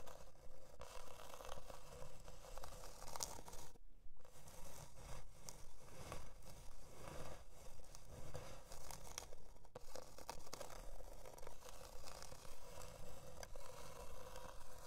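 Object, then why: Thin plywood board. Long dark nails scratch the surface of a thin, flat, solid plywood heart-shaped board resting on faux fur. The result is about 29 steady, rhythmic scraping strokes with a dry, raspy, tearing texture and a heavy low rumble, with brief quieter gaps around 4 and 9.7 seconds.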